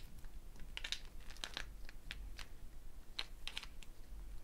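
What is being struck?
Dried gourd shaker with a net of wooden beads.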